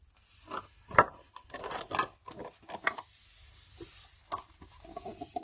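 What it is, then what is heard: Metal watercolour tin. Fingernails tap and scratch on the glossy lid and edges of a closed black Sennelier metal watercolour tin, held in the hand and hollow with paint pans inside. Sharp, hollow ticks centred around 1.3 kHz alternate with brief raspy scraping, each dying away almost at once.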